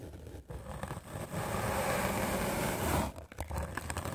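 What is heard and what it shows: A white rectangular magic eraser block of solid melamine foam, held in the hand, is scrubbed aggressively with a medium black-bristle paint brush. Short bristly strokes build into a dense, continuous scratchy scraping in the middle, then break into choppy strokes again after a brief drop near the end.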